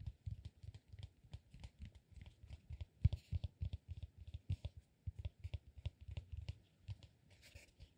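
A solid, peanut-shaped cork massage ball is held upright and tapped and scratched with the fingertips. Rapid, irregular soft, dull thuds mix with faint, dry scratching over about eight seconds, each tap dying away instantly with no ring.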